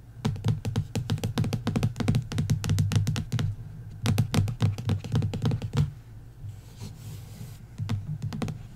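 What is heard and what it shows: Long nails and fingertips tap rapidly across the cover of a bare printed hardcover book, dust jacket removed, lying flat and solid on wood. The taps are dull and low, with short clicky attacks that die away almost at once. They come in quick, uneven bursts with a brief pause in the middle, then turn sparse and quiet before a few last taps.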